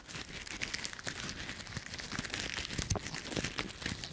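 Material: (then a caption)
Leaves. A small bunch of dry brown autumn leaves is crushed in a closed fist, then pinched between fingertips. The result is a dense run of bright, dry crackling and crunching with many short snaps.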